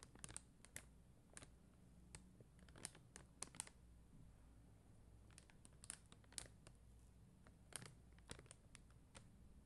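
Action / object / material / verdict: tap / plastic rhinestone sticker sheet / plastic / none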